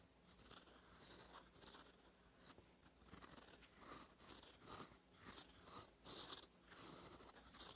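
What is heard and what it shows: A gold metal fountain pen nib, held by the fingertips, scratches across a thin cream lined paper notebook page while writing in cursive. Bright, dry scratching strokes come in short, irregular bursts with quiet pauses between them.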